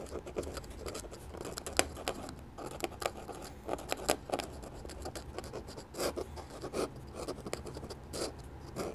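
A steel dip pen nib scratches repeated hatching strokes across a flat sheet of white drawing paper beside an ink sketch. Quiet, dry, rasping strokes repeat steadily, with brief sharp ticks and a papery mid-range texture. Bright scratchy edges flicker through a soft hiss.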